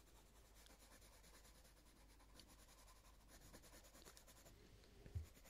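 A light green coloured pencil shades a leaf on a paper colouring book page in repeated rubbing strokes, giving a soft, continuous scratchy rasp over a steady low background rumble. The strokes stay quiet and even, with a slightly louder brush near the end.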